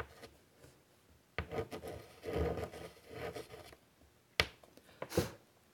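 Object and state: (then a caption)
Chalk writing on a wooden-framed chalkboard. White chalk held in the fingers is drawn across a large, flat chalkboard in a wooden frame resting on a table. After a faint start, scratchy, rasping strokes run in bursts, followed by a pause and then three sharp taps with short scrapes, each dying away almost instantly.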